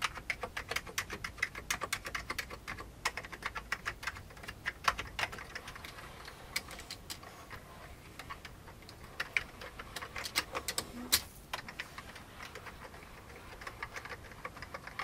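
Fingertips of both hands type on the keys of a full-size vintage beige plastic computer keyboard. A steady, quiet stream of short, bright plastic clicks and clacks comes in irregular bursts with brief lulls, each keystroke dying away almost instantly.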